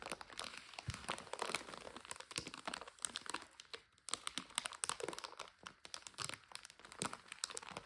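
Hands holding a full, clear plastic bag of dry egg noodles, its top folded over and back label showing, squeeze and crinkle it. The result is a dense, bright crackling made of quick sharp rustles and crunches, with a brief lull around the midpoint before the crinkling picks up again.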